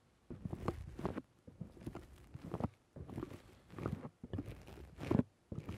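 A fingertip and thumb press and squish the top and side of a black dome-shaped foam windscreen on a microphone. The result is close, dense bursts of muffled crackling and rustling, heavy in the low end, separated by brief near-silent pauses.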